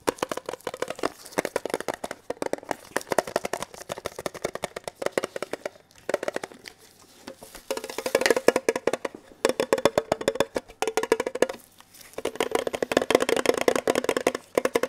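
Fingertips tap rapidly on the lid and sides of a small, hollow, red printed metal Kellogg's tin box as it is turned in the hands. The result is dense bursts of short, dry, clicky taps with a hollow tinny tone around 480 Hz and almost no ring. Brief pauses separate the runs.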